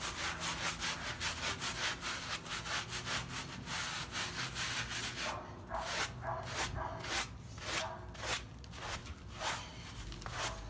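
A child's hand scrubs a small, soapy, paint-filled wet fabric rug lying on a dark mat with a blue plastic bristle brush, working it until it is cleaned spotless. Quick, bright, scratchy rubbing strokes repeat in a loose rhythm. They run nearly continuously at first, then turn into more separate swishes with short pauses between them.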